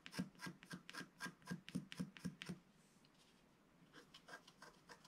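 A wooden stylus scratches the lower edge of a flat, black-coated scratch-art page from a book, which lies on a table and is held by one hand. Ten quick, evenly spaced dry rasping strokes with a low, hollow body and a bright scratchy edge come in the first two and a half seconds. After a short quiet pause, softer, lighter strokes follow.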